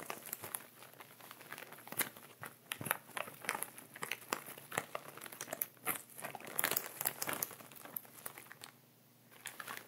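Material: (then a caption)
Plastic. Fingertips and nails rub and crinkle the upper plastic of a clear plastic ziploc bag with sea salt at the bottom, lying on fabric, while a wooden pointer lies unused at its side. Dense, bright crinkling comes in quick, sharp bursts with short quiet gaps, easing briefly near the end before resuming.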